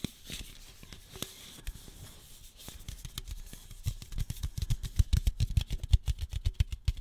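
Long nails tap and scratch the side and top rim of a single hollow red aluminum soda can standing upright. Soft scratching gives way to a quickening run of short, dry clicks and taps that grow louder and denser toward the end.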